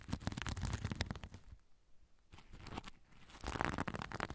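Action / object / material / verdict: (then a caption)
scrape / sequin-covered fabric zipper pouch / plastic sequins / none. A soft zipper pouch covered in sequins is held close to the recorder while fingers and nails scratch and flip the sequins. Dense, crackly, crinkling scratches with a low rumbling body come in busy bursts, ease into a quieter lull in the middle, then build back to loud, rapid scratching.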